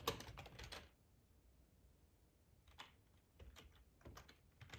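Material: Plastic.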